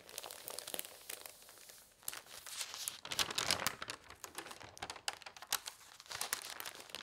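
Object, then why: Newsprint paper. Fingertips with long nails rub and smooth the sheets of an open newsprint newspaper lying on a table, then lift and turn a page. The result is bright, dry rustling and crinkling with soft rubbing between sharper paper crackles, and a louder rustle as the page turns.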